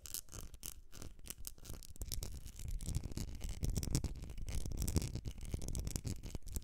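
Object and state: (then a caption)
Glass candle jar scratched and tapped. Long nails scratch and tap the sides of a medium etched glass candle jar filled with solid wax. The result is a quiet, dense run of rapid scratches and short taps, with a mostly low, muffled body and faint bright scratchy edges, growing slightly busier toward the middle.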